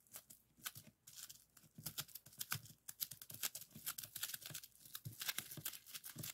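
Fingertips press and pop the air-filled bubbles of a clear plastic bubble wrap sheet lying flat on a table. A rapid, uneven string of sharp, bright snaps and crackles mixes with soft crinkling of the plastic. Each pop dies away almost instantly.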